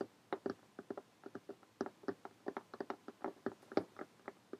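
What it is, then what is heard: Cloth hardcover notebook. Long painted fingernails of both hands tap rapidly on the cover of a closed lime green cloth hardcover notebook lying flat. There are 24 quick, dry, separate taps with almost no ring, in irregular bursts.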